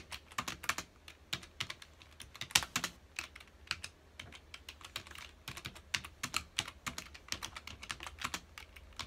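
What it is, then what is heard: Plastic computer keyboard being typed on. Fingertips of both hands rapidly press the keys of a full-size black plastic computer keyboard resting on a dark desk. The result is a steady run of quick, crisp, bright typing taps with almost no low end, each click dying away almost instantly, with a few louder strikes standing out among the softer ones.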